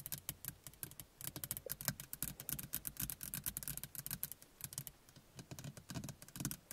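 Long fingernails on both hands tap and scratch the plastic frame and glass face of a small interior car rearview mirror. The result is a quick, irregular run of dense, light clicks with some scratching between bursts, each click brief and bright over a low thud.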